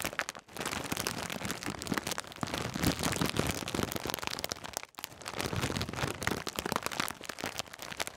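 A full foil-plastic snack bag of Twiglets is squeezed and crinkled with the fingertips close to the mic. The result is dense, continuous crackling with many sharp rustles spread from low to high. A brief pause comes near the start and another just before the five-second mark.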